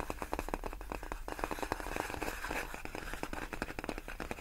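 Long nails tap and scratch across large, clear, inflated plastic air-column cushion wrap, its hollow air-filled tubes giving off a rapid stream of dry, crisp clicks. Crackly scraping runs between the taps. Each hit dies away almost instantly with no ring, leaving a busy, close, tactile texture.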